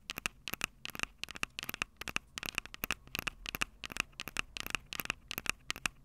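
Long acrylic nails tap and scratch the metal-grilled microphone capsules of a small, hollow, plastic-bodied Tascam DR-05 handheld recorder. Quick clusters of sharp, dry clicks and light scratches come through, bright and crisp with a ringing tone near 2.6 kHz. Each tap dies away almost instantly, with very little low end.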